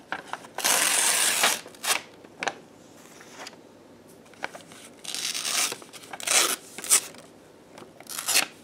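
A thin white printer paper sheet is held in the air and torn into strips by hands in black lace gloves. Bright, crisp tearing comes in bursts, with a long rip near the start, shorter tears later, and quiet pauses between them.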